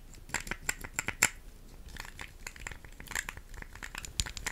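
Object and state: Plastic puzzle cube.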